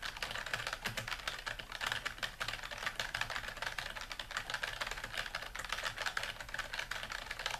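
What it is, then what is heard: Plastic computer keyboard. Both hands type with their fingertips on a dark plastic computer keyboard, a flat device with hollow keys resting on a desk. Rapid, continuous key taps form a steady stream of short, bright clicks with little low end.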